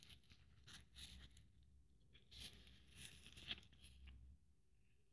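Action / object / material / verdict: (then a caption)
scrape / beaded glitter Christmas ornament / glitter and beads / none. Long nails scratch and rub along the beads and glitter of a blue glitter Christmas ornament with bead strands, held in the hand. The result is a soft, scratchy rustle with crisp, bright clicks from the beads over a faint low rumble, with one sharper click standing out near the end.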